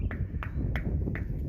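Four knocks on the steel tank of the Mayfield water tower give dull, solid thuds with little ring, mostly low in pitch. The tank sounds full, holding about 150,000 gallons of water.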